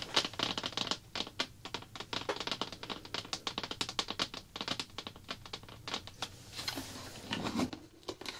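Fingertips with long black-painted nails rapidly tap and scratch the top of a large round blue plastic slime bucket lid with a printed label, making a fast run of sharp, bright clicks that stop almost instantly. Scratchy crinkling runs between the taps, possibly from plastic wrap, with a softer rustling stretch near the end.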